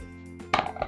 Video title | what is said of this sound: Large White Loaf | if you tap it on the underneath, it should sound hollow, and this one does